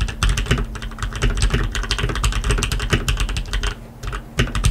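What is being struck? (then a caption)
Mechanical keyboard with plastic keycaps on a metal plate. A black tenkeyless RGB mechanical keyboard with lubed linear switches and plastic keycaps on a metal plate is tapped key by key with the fingertips, then typed on with both hands. The result is a fast, steady stream of short, dry clacks with a deep, thumpy low end and almost no ring after each press.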